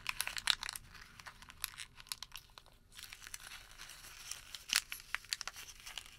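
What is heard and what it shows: A thin white thermal paper receipt is folded and then crumpled into a small ball with the fingertips. Quiet, bright, dry crinkles and sharp crackles come in dense bursts, with a brief lull near the middle and almost no low end.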